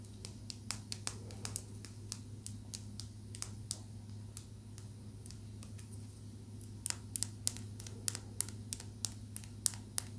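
A small, rough, solid chunk of raw blue calcite, held in the fingers, is tapped with long nails, giving quick, dry, bright clicks at an uneven pace. The taps are faint at first and grow louder and more frequent in the second half. A steady low hum runs underneath throughout.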